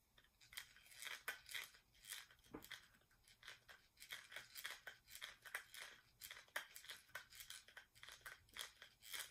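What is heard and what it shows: Fingernails tap and scratch quickly on the lid and rim of a small, round, metallic-finish plastic cosmetic jar with a dark lid. The result is a steady stream of bright, crisp clicks and scratchy sweeps. The sound is high-pitched and thin, with almost no low end, and each tap dies away quickly.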